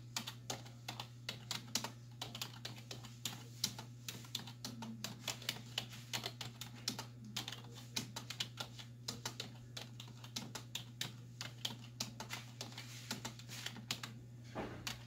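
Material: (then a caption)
Plastic. Two hands with long white nails type on a black plastic desktop keyboard with hollow keys, striking with fingertips and nail tips. A fast, uneven run of sharp, bright clicks and clacks continues throughout, each dying away almost at once over a steady low hum.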